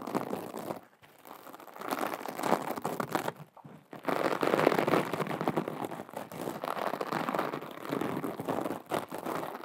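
Long acrylic nails scratch and rub a small, flat, teal glitter or sequin fabric pouch, soft and empty-looking, held close to the mic. The result is a dense, crinkly, crackling rustle centered in the midrange, with brief quiet gaps near 1 second and just before 4 seconds.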